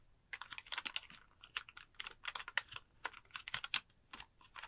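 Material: Plastic.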